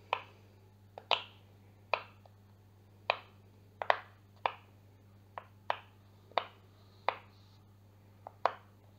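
A heart-shaped pastel rainbow silicone pop-it fidget toy, hand-sized with hollow bubbles, is held up with both hands while its bubbles are pressed and popped with the fingertips. Twelve short, sharp popping clicks sound at irregular intervals, each with a bright snap and a very quick decay, over a faint steady low hum.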